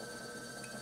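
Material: Nothing is struck.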